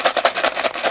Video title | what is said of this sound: INI VOL.9 PALING OP? 😱 REVIEW Blokees Hero Infinity VOL.9 | dengerin suaranya padat banget. Serius ini adalah naga asli